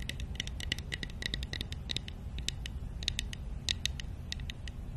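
Long nails tap and scratch quickly on a small, hollow, painted wooden matryoshka nesting doll held close to the mic. The result is a rapid run of sharp, bright clicks and scratchy ticks over a steady low rumble.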